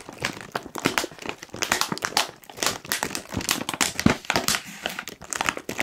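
A medium-sized Kettle crisps bag of foil-lined plastic, puffed and apparently full, is crinkled and squeezed with the fingertips of both hands. Dense, bright crackling crinkles come in quick overlapping bursts throughout, with very little low end and almost no ring after each crackle.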